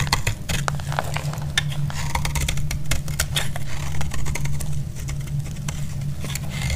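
A utility blade shaves along the edge of a solid orange bar of soap, making a quick, irregular run of crisp scraping clicks with bright, dry edges. The strokes sit over a steady low hum throughout.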